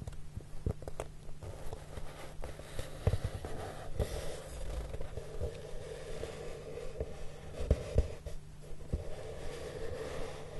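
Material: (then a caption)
Cardboard. Fingertips of both hands, with short polished nails and a ring on one finger, rub and stroke a large flat brown cardboard sheet. The result is a quiet, steady, low rustling and brushing sound, broken by occasional soft, brief knocks.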